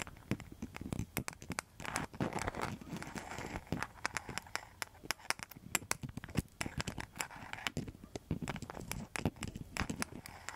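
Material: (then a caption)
Rattan, mosaic tile. A round coaster with a rattan rim and a mosaic surface is scratched and tapped with long metal nail tips. The result is a dense run of sharp, dry clicks and bright ticks over crackly, crinkling scratches, each tap stopping almost instantly with no ring.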